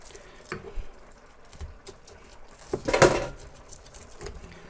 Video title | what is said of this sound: (533) Easy Fast Air Fried Chicken Thighs | hear how crispy the skin is